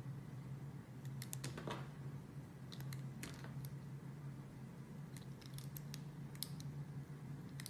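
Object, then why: Glycerin soap bar cut with a metal blade. A translucent red heart-shaped glycerin soap bar with white dots, solid and hand-sized, is held in the fingers and cut and sliced with a metal utility blade. Quick, crisp, bright clicks and scrapes come in scattered bursts over a steady low hum.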